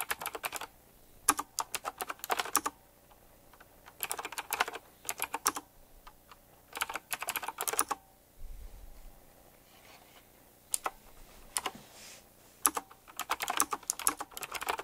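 Fingertips type on a retro typewriter-style mechanical keyboard with round plastic keycaps and metal rims. Bursts of fast, crisp clicky keystrokes come in quick clusters, separated by brief pauses. The clacks are bright, with very little low end.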